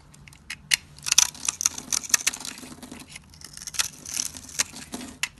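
A metal blade scrapes across a solid, dry blue soap bar held in the hand and pre-scored into a grid, cutting off small cubes that fall away. The result is a series of crisp, bright crunches and scratchy scrapes, with sharp clicks standing out over a quiet background.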